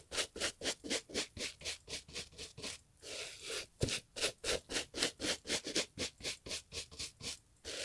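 A gloved hand brushes the leather upper of a brown Italian leather loafer with a bristle brush during restoration, making about 25 quick, bright scratchy strokes at roughly four per second. A brief longer, continuous rub breaks the rhythm near the middle before the steady back-and-forth brushing resumes.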